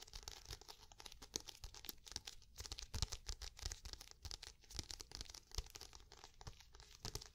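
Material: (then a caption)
Cardboard. Long painted nails tap and scratch across the smooth cover of a medium black hardcover notebook or book, held upright and closed. Quiet, dry, rapid taps and scratchy rustling blend into a steady bright crackle with soft low thumps, each tap stopping instantly with no ring.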